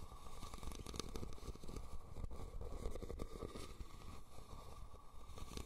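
Fingernails scratch the weave of a hollow, red, woven rattan cylindrical basket turned upside down over the recorder. The result is a steady, dense scratching and crackling texture with a heavy low rumble and little high-end brightness.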